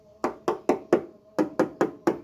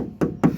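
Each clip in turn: First: steel car body panel, no filler. Second: car body panel with thick body filler.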